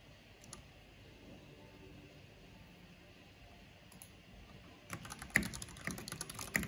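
Fingertips with long painted nails type on a black plastic backlit mechanical keyboard with hollow plastic keycaps. After nearly five seconds of quiet low background with only a couple of faint clicks, a quick, irregular run of sharp, bright, hollow-sounding clacks begins and continues to the end.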